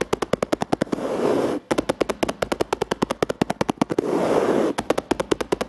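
Fingers tap rapidly on a plastic surface in quick bursts of sharp clicks, with two stretches of steady scratching or rubbing on the plastic between them.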